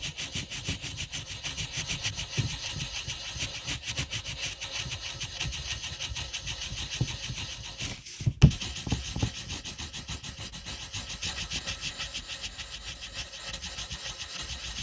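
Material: Paper.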